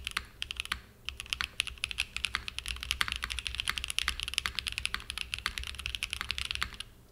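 A small 60% mechanical keyboard with a purple aluminum case and cream and purple plastic keycaps, resting on a desk mat, is typed on continuously with the fingertips. Rapid, bright, crisp key clacks follow one another with almost no ring, broken only by a brief pause about a second in.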